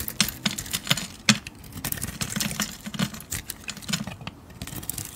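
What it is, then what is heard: Bar of soap being carved. A metal blade shaves the purple-gold glitter coating off a hand-sized solid bar of blue soap. A rapid run of short, crisp scraping clicks and crackles is heard, bright and dry with almost no ring, over a faint low hum.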